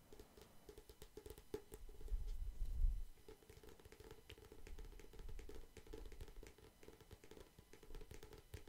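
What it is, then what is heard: Cardboard photo sleeve. A thin, flat, glossy printed cardboard photo sleeve held in one hand is tapped with fingertips and nails. The result is a dense run of quick, dry taps and soft low thumps with a faint mid-range tone, swelling to a louder patch of bassy rumble around the third second. Each tap dies away almost instantly.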